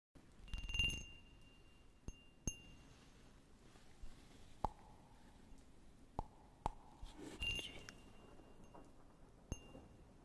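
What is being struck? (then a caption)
Small cut-glass cup. A small, clear cut-glass cup with a diamond pattern, hollow and empty, is held close and tapped with fingertips and nails. Sharp, scattered taps each give a short glassy ring around 850 Hz with bright, high overtones, spaced over a quiet, hissy background.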